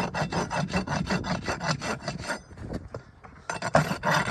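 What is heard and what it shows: A farrier rubs a steel rasp up and down the solid keratin wall of a shod horse hoof resting on a metal stand, in filing strokes. Quick, rhythmic gritty rasping strokes with a low body around 150 Hz repeat for about two seconds, fade to quieter scraping for about a second, then resume louder to the end.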